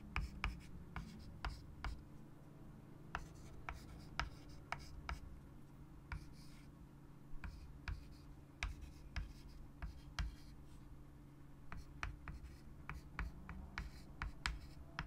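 A white chalk stick held in the fingertips writes text on a large, flat, solid wood-framed chalkboard lying on a table. Quick, bright scratching strokes and sharp ticks of the chalk land in irregular bursts over a steady low hum.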